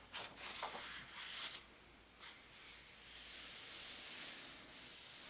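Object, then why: Thin paper pages of a large atlas. A flat palm and fingertips rub across the thin paper index pages of a large open atlas and lift a page corner. The result is soft, bright, papery brushing strokes early on, followed by a steadier hiss of rubbing.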